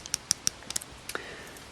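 Tapping on the metal bezel of a Samsung Gear S3 smartwatch makes a run of six quick, bright, dry clicks with a light metallic rattle. This is normal for the watch.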